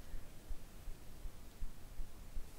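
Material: Nothing is struck.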